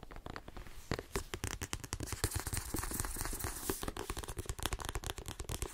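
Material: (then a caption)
Paper. Fingernails rapidly tap and scratch along the spine and page edges of a paperback book with a glossy card cover. The result is a dense run of quick, dry clicks with almost no ring, weighted toward a low thud, with a papery, scratchy hiss reaching high.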